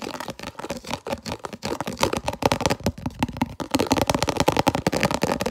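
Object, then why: Plastic food container lid. Long natural nails rapidly scratch and tap a translucent red round plastic food container lid with concentric ridges, held in both hands. The result is a dense stream of short, dry plastic clicks and raspy scratches that ring only briefly, with a hollow midrange tone around 550 Hz and a bright edge.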